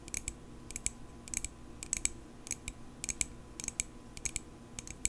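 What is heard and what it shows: Long pink acrylic nails tap a small, solid silver metal pocket knife held in both hands. The taps are quick, bright, high-pitched clicks that stop almost instantly. They come in irregular little clusters over a low, quiet background hiss.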